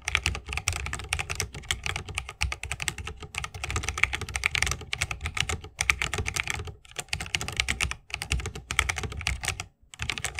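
Fingertips of both hands type fast on an RGB-lit 60% mechanical keyboard with plastic keycaps on Holy Panda tactile switches, set in a solid bamboo wooden case and resting on a wrist rest. The result is a dense, rapid stream of short, bright clacks over a low thock, with brief pauses near seven and ten seconds.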